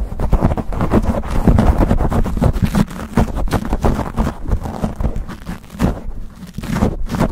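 Fingertips and nails rapidly scratch and rub a black foam windscreen on a silver condenser microphone. The result is a dense, continuous stream of low, rumbling scratching and thumping with little high-frequency content, swelling and dipping in loudness throughout.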